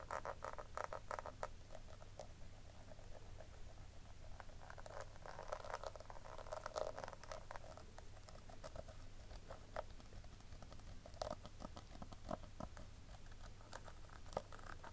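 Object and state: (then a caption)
Plastic compact case. Long nails tap the lid and rim of a small, round, hollow pink plastic compact powder case, then move to its side edge. The result is a quiet, steady patter of short, dry clicks with a hollow tone around 600 Hz and brief bright ticks, over a low hum.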